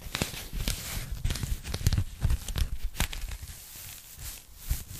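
A thin, flat, empty pink polyethylene foam packing bag is held in both hands while long nails tap and scratch its surface. Soft, irregular crinkling scratches mix with dull low taps and brief bright clicks, with no talking.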